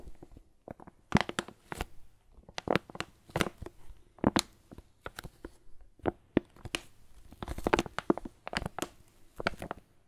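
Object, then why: Foil coffee bean bag. A Lavazza foil coffee bean bag is held in the hand while fingers crinkle the foil. The result is a steady run of short, dry crackles and crunches, many with bright upper edges, coming in uneven bursts at a soft overall level.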